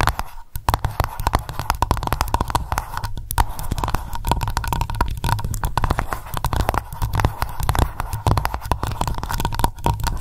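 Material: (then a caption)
Wax. Long nails tap rapidly on the solid white wax top of a candle in an open glass jar, making a dense, continuous stream of short, dull clicks. The sound is mostly low and thuddy, with a faint steady tone near 1 kHz underneath.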